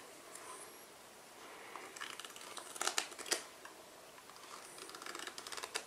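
Fingertips and nails tap and scratch the surfaces and edges of a small black cardboard tuck box, likely holding a deck of cards, held in both hands. The sound is quiet, dry and bright: soft irregular scratching and light tapping, with a few sharper clicks near the middle, all dying away almost instantly with no ring.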